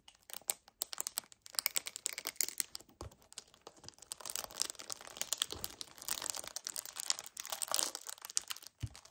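An empty 1 L white paperboard kefir carton is gripped hard, squeezed and tapped with fingernails. The result is a dense, bright stream of crinkling, crackling and quick dry taps, with almost no low end and no ring after each hit.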